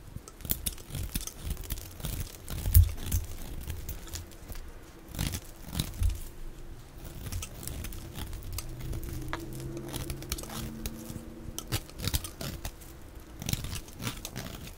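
A knife blade scrapes thin yellow curls off the face of a solid, palm-sized, yellow oval bar of dry soap held in the hand. The sound is a steady run of dry, crumbly scraping and crinkling strokes with soft low thumps, plus brief brighter crackles as the curls shave away.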